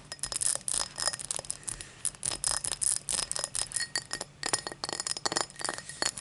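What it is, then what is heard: Cut crystal highball glass. Long black nails tap rapidly on a tall, empty cut-crystal highball glass lying on a towel. The result is a flurry of bright, high glassy clinks and chimes. Each tap rings only briefly before the next.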